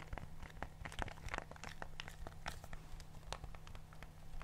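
A black plastic TV remote with rubber buttons is held close to the mic while fingertips press and tap its buttons and the hands move it around. The result is a rapid stream of short, dry, crisp clicks and soft crinkly rustles over a steady low hum.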